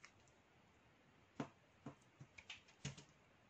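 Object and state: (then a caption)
Black soap bar being shaved. A metal knife blade with an orange handle shaves thin flakes from a solid, partly carved black soap bar held in the hand. Eight short, crisp scraping clicks come at an uneven pace over a quiet background, each with a dull low thump and a bright edge that fades almost instantly.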